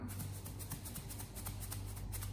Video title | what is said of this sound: Why Swisspro's Carbon Filter is different? | by shaking it you will simply hear that there is a sound which means that is loose carbon